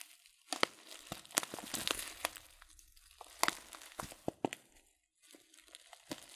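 A filled, glossy coated-paper tea packet of loose-leaf tea is squeezed and crinkled by fingers. Sharp, bright crackles and crinkly rustles come in quick bursts over a soft papery hiss, pausing to near silence briefly before resuming more quietly.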